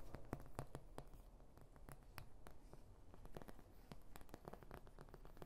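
A large oval white plastic paint palette with round wells, thin and hollow-backed, is tapped and scratched with long nails close to the microphone. Quiet, rapid, sharp clicks and light scratchy rustles follow one another in an uneven stream over a soft low rumble, each tap dying away almost instantly with no ring.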